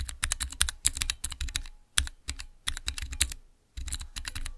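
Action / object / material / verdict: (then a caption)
tap / clear acrylic mechanical keyboard switch tester / plastic / none. Fingertips type on the transparent keycaps of a small clear acrylic Cherry MX mechanical keyboard switch tester. Quick bursts of short, bright plastic clicks and clacks, each with a low thock, come in rapid runs separated by brief pauses.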